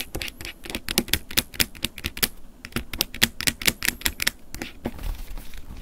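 A wooden ear pick scratches the top edge and casing of a closed silver plastic flip phone lying on a table. Quick, irregular, bright, dry clicks and scrapes follow one another with no ring. The strokes soften into a lighter, continuous scraping at the end.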